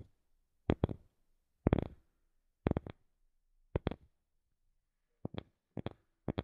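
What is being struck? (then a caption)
Wooden object. A wooden object is tapped in short groups of two or three quick, dry knocks separated by silent pauses. The taps are quiet and low-to-mid pitched with a soft woody body and almost no ring, with no talking.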